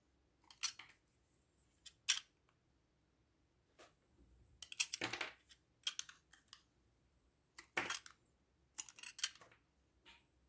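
A hand-sized solid white bar of soap with a blue outer coating is held in one hand and carved and scraped with the metal blade of an orange utility knife, with shavings falling onto a wooden table. Short, crisp, bright scraping and cutting bursts come in scattered clusters separated by quiet pauses, each dying away almost at once.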